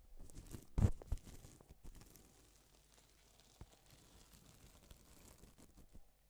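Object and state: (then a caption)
Sequin fabric brushed by fingertips. A blue nitrile-gloved hand brushes its fingertips across a large, flat, thin and soft sheet of two-tone silver and pink reversible plastic sequin fabric, flipping the sequins' colour. The result is a soft, scratchy rustle of many small clicks. A louder burst comes early on, and the sound thins to quiet patter toward the end.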